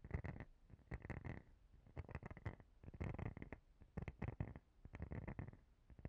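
Long painted fingernails scratch across the rounded nubs of a palm-sized, transparent plastic cellulite body brush and tap its edge. Quiet, dense bursts of scratchy clicking come in clusters separated by short pauses. The sound is weighted toward a low rumble, with a faint tonal band around 2 kHz.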